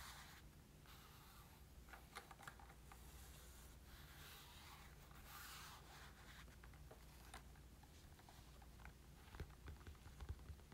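Fingertips and short nails tap and scratch a hollow, black textured Nintendo Switch carrying case with pink trim, a molded EVA hard shell lying flat. Quiet, steady rubbing and scratching runs over a low hum, broken by scattered soft, dull taps that die away almost instantly, with a few sharper taps near the end.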